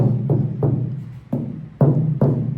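The steel roof panel of a 1970 Monte Carlo, its inside sprayed with sound deadener and ceramic thermal insulation, is tapped six times. Each tap is a dull, low thud centered around 140 Hz that dies away quickly with almost no ring or high-frequency content.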